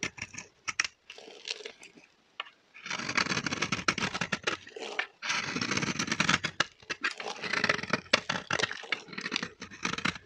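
A metal blade scrapes the surface of a solid, dry pink bar of soap held in the hand, shaving off crunchy flakes. Dense, bright, crackly scraping comes in long strokes with short pauses between them, plus quick sharp ticks. The sound is dry and close, with little low end.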